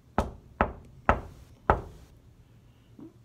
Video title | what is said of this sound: The Dark Secret I Found in this Hotel | there's nothing that's telling me that there's anything behind this this mirror at all